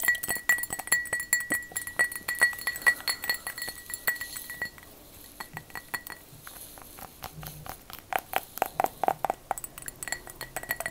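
A glass object is tapped with long fake "witch" fingernails in a rapid, uneven stream of light clinks with a faint ringing tone near 2 kHz. The tapping eases and quiets around the middle, then picks up again with brighter, sharper clicks toward the end.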